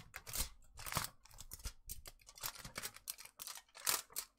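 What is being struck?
Thin aluminium foil sheet.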